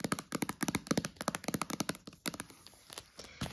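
Long nails and fingertips tap quickly on the clear plastic sides of a hollow, empty, shrink-wrapped stack of clear plastic food containers with green lids. About nineteen light, clicky taps come in a fast, uneven run with no ring after each hit, then thin out into softer, sparser taps toward the end.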